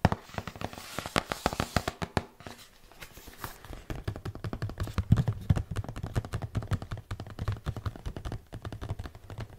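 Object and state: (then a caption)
Cardboard box tapped with fingertips. Fingertips and nails tap rapidly on the flat faces of a red and white printed cardboard product box, which is hollow with the product inside. The result is a dense run of short, dull knocks with a low body and crisp, bright clicks. A brief quieter pause comes before the tapping picks up again.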